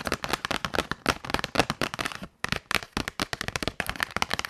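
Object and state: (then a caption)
Cardboard box tapped with nails. Long nails tap and scratch the surface of a small, hollow, closed white printed paperboard box labeled "HONGQIXIANG Highlighter Pen," held in the hand. Rapid, sharp, dry clicks and crackles run almost continuously, broken by a brief pause just before the 2.5-second mark.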